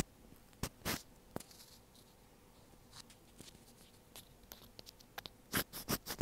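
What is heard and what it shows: A thin black pointed tool scratches at the tip of a small, hollow white plastic inline mic on an earphone cable. Sparse, dry scratching and tapping bursts rise from a faint background, each bright and cutting off at once, with a denser run of louder scrapes near the end.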